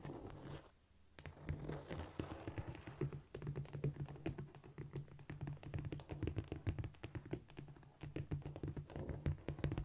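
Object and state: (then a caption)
Cork floor. Long almond acrylic nails on the fingertips of both hands tap and scratch across a flat, solid cork floor surface. Dense, rapid, dull clicks and scurrying scrapes run almost continuously, low and muffled, with each tap dying away quickly.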